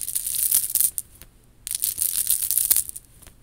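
Long nails scratch and tap across the small faux pearl beads of a worn, chunky faux pearl and rhinestone bib necklace. The result is bright, dense crackling and clicking in two bursts separated by a brief quiet pause, with almost no low end.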